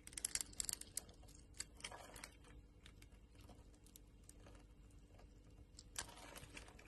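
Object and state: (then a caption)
Bar of soap being carved. A metal utility blade scrapes and carves small flakes off a solid green soap bar held in the palm. A quick cluster of crisp, bright scraping ticks comes first, then softer, steady shaving hiss with another sharp scrape near the end.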